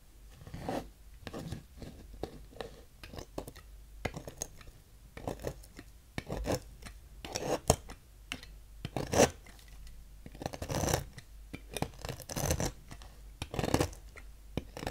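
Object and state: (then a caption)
Bar soap being carved. A thin metal knife scrapes shavings from the ridged cut face of a partly carved, solid, translucent peach bar soap held in hand. Irregular, dry scraping and rasping strokes come in quick bursts, each a short crisp shave that spreads from a soft low thud up into bright hiss, with faint quiet scratching between strokes.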